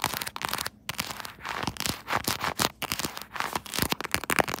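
Long nails on both hands tap and scratch across the back of a pink quilted soft-plastic phone case mounted on a tripod. The sound is a dense run of quick, dry, bright clicks and crinkly scratching with almost no low end, broken by a few brief pauses.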